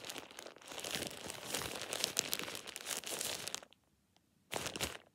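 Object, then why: Thin plastic shower cap. A thin, hollow, empty plastic shower cap is held over the hand and crumpled by the fingers. It gives a dense, bright crinkling that runs for over three seconds, falls silent briefly, then returns in a short final burst.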